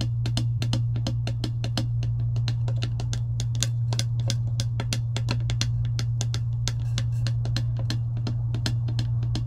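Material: Plastic.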